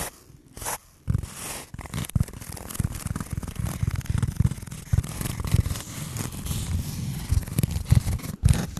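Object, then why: Foam block. Fingernails scratch and rub across the surface of a solid, rectangular black foam block held close to the mic. A dense, continuous run of scratchy, scraping strokes sounds mostly low and thumpy, with soft brighter hiss at the edges of the strokes. There is a short quiet pause near the start and another just before the end.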